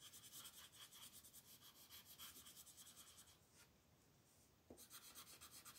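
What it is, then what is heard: Colored pencil rubbing on paper. A wooden colored pencil is rubbed repeatedly over a flat paper coloring book page held by a hand with long nails. The quiet, bright, scratchy strokes come in a quick, uneven rhythm, briefly give way to a soft hiss, then resume.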